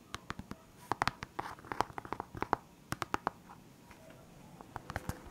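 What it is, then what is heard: Plastic pen case tapped and scratched. Fingernails tap and scratch the lid of a clear, hard plastic pen case holding felt-tip markers and bearing a label. The result is a quiet, irregular run of sharp, dry clicks with a hollow midrange plastic tone, separated by faint scraping.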